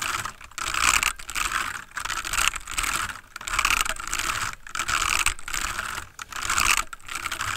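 Fingertips of both hands type rapidly on a full-size backlit plastic mechanical computer keyboard with a palm rest, sitting on a wooden desk. A dense stream of short, bright, clacky key taps comes in bursts separated by brief pauses, each tap dying out almost instantly.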